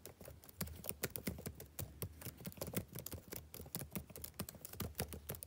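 Fingertips type rapidly on a black plastic backlit laptop keyboard. A quiet, steady stream of short, dry key clicks has soft low thumps under brief bright ticks that die away almost at once.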